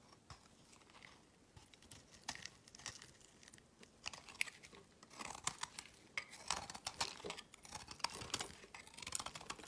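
A solid brown laundry soap bar is held in the hand and scraped and carved with a metal utility knife blade, its shavings falling away. Quiet, dry scraping and crisp crackling cuts come in irregular bursts, brighter and denser in the second half. Each stroke sounds bright and brief, with almost no low end.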